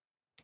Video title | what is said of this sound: Lesson 01—The External Anatomy of Salmon | you can hear that hard cover. That is the gill plate and it hides the gills and protects the gills